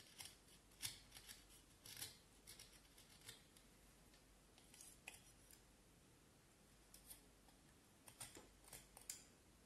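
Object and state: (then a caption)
Vine wood stick being carved. A small knife carves and scrapes the end of a solid pale vine wood piece held horizontally in both hands. Short, bright scraping and shaving strokes come in irregular bursts, separated by quiet pauses. Each stroke is crisp and dry, with almost no ring after it.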